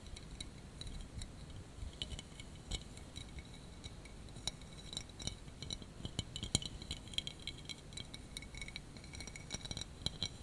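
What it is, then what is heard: Acrylic Christmas tree figurine. Fingernails tap and scratch a clear, spiky, hand-sized Christmas tree figurine of acrylic or glass, likely solid. A steady run of quick, bright clicks and light scratches plays over a soft low background hum, each tap dying away almost at once.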